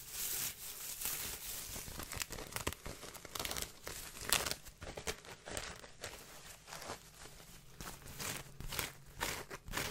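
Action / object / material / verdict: scrape / woven straw sun hat / straw / none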